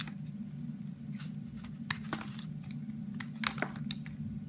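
A solid rectangular orange bar of soap, held in fingers with pink nails, is carved with a box cutter blade so shavings fall away. Short, crisp scraping cuts snap out brightly over a steady low hum, and they come a little closer together toward the end.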